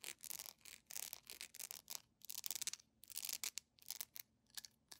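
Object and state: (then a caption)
Beeswax pillar candle. A small, solid, yellow cylindrical beeswax pillar candle with a honeycomb texture, held in both hands, is scratched and rubbed with long painted nails. Quick bursts of dry, bright, hissing scratches come in uneven clusters with short pauses between them, almost entirely in the high frequencies, and each one stops at once with no ring.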